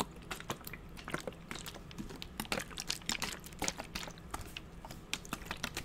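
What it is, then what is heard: Plastic spray bottle. Fingernails tap quickly along the body of a hollow, purple translucent plastic spray bottle with a trigger head. The result is a dense run of short, crisp clicks with bright upper tones and almost no ring, over a faint low hum.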